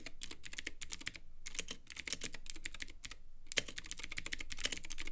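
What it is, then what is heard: Clicky mechanical keyboard. A Womier K66 compact 65% mechanical keyboard with white plastic keycaps, Gateron Blue clicky switches and a clear RGB-lit acrylic case sits on a desk and is typed on with the fingertips of both hands. Rapid, sharp, bright clicks fire in quick bursts with brief pauses between them. Each keystroke ends almost instantly.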